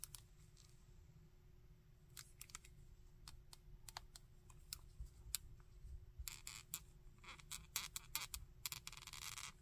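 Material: Plastic.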